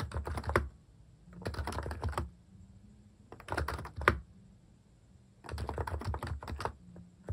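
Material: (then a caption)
Plastic. Fingertips type on a compact plastic mechanical keyboard fitted with cat keycaps. Quick clusters of short, dry clicks and clacks arrive in four bursts, separated by brief pauses, over a low background hum.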